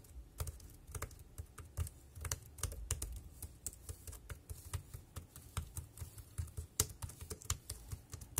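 Fingertips tap the keys of a dark grey compact plastic wireless keyboard resting on a plastic sheet, producing about 25 quick, irregular keystrokes. Each tap is a short, dry click with a soft low thud and a bright tick that dies away almost instantly, with brief quiet gaps between the strokes.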